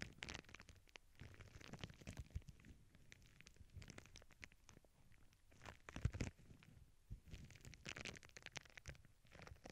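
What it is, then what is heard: Plastic bubble wrap. A flat sheet of clear plastic bubble wrap lies on a cork board with earbud microphones resting on it, while one or two hands with long nails press, rub and scratch the bubbles. The result is quiet, close-up crinkling and scratching over a low, rumbling handling noise, with scattered sharp crackles and a few louder pops.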